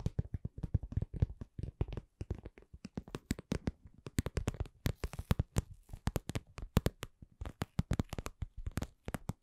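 A cosmetic pouch is tapped at a slow-to-medium pace without talking, giving dozens of soft, quick, low thuds that die away almost instantly. The taps are muffled and low-pitched, with only a faint bright edge on some strikes.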